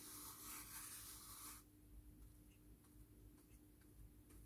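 A small, flat silver glitter fabric zip pouch is held in one hand and rubbed and brushed with a soft makeup brush. A dense, bright brushing rustle fills the first second and a half, then drops to a quiet background with faint, scattered soft scrapes and a steady low hum underneath.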